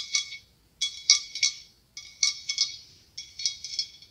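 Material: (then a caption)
Glass. Long acrylic nails tap and scratch a large, hollow, ribbed white blown-glass pumpkin with a clear glass stem. Four short bursts of quick, bright clinks sound high-pitched and glassy, with almost no low end. Each tap dies away quickly, with only a faint ring between bursts.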